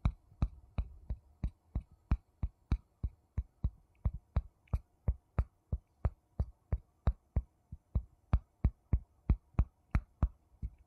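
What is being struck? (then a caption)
Wooden bowl and wooden spoon. A wooden spoon taps on a wooden bowl 32 times at a steady pace of about one and a half taps per second. Each tap is a short, dull, low wooden knock that dies away almost instantly.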